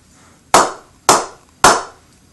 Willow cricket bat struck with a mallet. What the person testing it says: You get a nice ping off the mallet there, so very nice ping on the bats